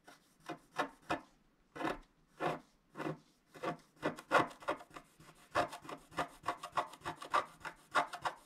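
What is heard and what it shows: A wooden stylus scratches across a flat coated scratch-art sheet in short, dry rasping strokes. The strokes are quiet and broadband, centered in the mid range. They start spaced apart with pauses, then come faster and closer together in an irregular rhythm.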